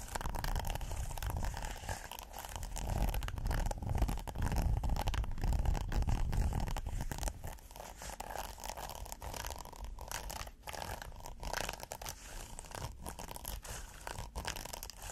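Fingernails scratch a red hexagonal silicone pot holder with a textured surface, first while it is folded and then while it lies flat. The result is a dense, rapid scratching and rustling with a heavy low rumble. It is louder during the folded first half and softer and thinner once the pot holder is flat.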